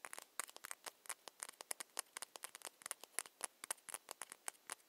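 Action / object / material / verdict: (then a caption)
tap / small ceramic cosmetic bottle tapped with fingernails / ceramic / none. Long nails tap quickly and irregularly on a small ceramic foundation bottle with a ribbed cap. About 28 short, quiet clicks sound in under five seconds, each sharp and bright with no low end and almost no ring, forming a light, dry, pattering rhythm.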